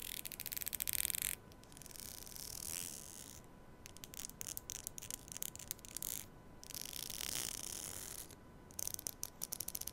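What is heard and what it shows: Long nails run along the fine teeth of a thin, solid black hair comb, likely plastic, held close to a small microphone, scratching and plucking them. Quick bursts of bright, rapid ticking alternate with softer stretches of steady, hissy scraping. The sound stays quiet and high, with little low end.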